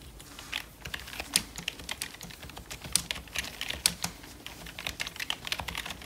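Gloved fingertips type quickly on a full-size black plastic Logitech wireless membrane keyboard with a hollow plastic casing, lying on fur. The result is a steady run of soft, bright plastic taps and clicks with very short decay, with a few sharper, louder key strikes standing out.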